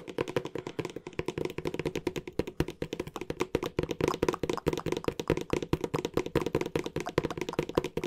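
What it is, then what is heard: Cardboard box. Fingertips tap rapidly and forcefully on a flat, hollow green cardboard box with a black rim, held horizontally. The result is a dense, uneven run of dozens of short, dry, hollow knocks with a boxy midrange tone around 360 Hz and almost no ring.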